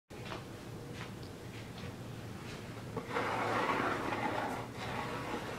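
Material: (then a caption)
Cardboard. Fingertips and nails scratch and tap the lid top of a closed, hollow, medium-size rigid cardboard Birchbox subscription box, blue with gold dots. Soft, steady papery scratching over a low hum grows into a louder, rougher, mid-to-high scrape after about three seconds. It then eases slightly toward the end.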